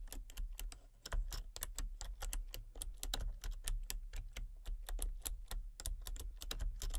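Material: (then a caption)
Plastic. Fingertips and long painted nails type rapidly on a full-size backlit plastic RGB computer keyboard with hollow key switches and colour-cycling lights. About 34 quick, bright, hollow clicks and taps come in an uneven stream over a steady low rumble. Each tap dies away almost at once.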